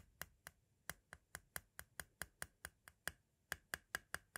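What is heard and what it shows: A white plastic compact cassette shell, small and hollow, is tapped repeatedly near its center with a thin pointed tool. Eighteen sharp, dry clicks follow at a slightly uneven pace, each with a brief bright ring around 1.6 kHz that dies away almost instantly.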